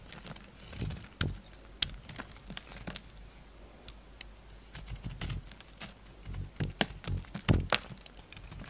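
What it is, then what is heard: Bar of soap being carved. A solid yellow soap bar with a dark rim is held in the hand while a utility knife carves chunks and crumbly shavings from it. The result is a series of short, dry crunching and scraping cuts with bright, crisp high tops and soft low thuds, separated by quiet pauses.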